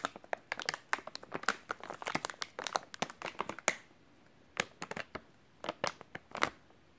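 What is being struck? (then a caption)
Soft plastic wet wipes package. A full, white soft plastic wet wipes package is squeezed and crinkled with fingertips, giving a dense run of sharp, bright crackles for nearly four seconds. After a brief pause, sparser crinkles follow. The sound is crisp and quick-decaying, with almost no low end.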